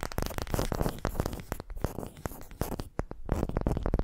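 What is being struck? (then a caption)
Wooden ball. Long pastel-painted nails scratch and tap a pale, unfinished, palm-sized wooden ball that looks solid and is held in both hands. A dense run of quick, dry clicks and scratchy rubbing comes through, with a heavy low thump under the taps. The sound pauses briefly midway before the tapping picks back up, each tap dying away almost instantly.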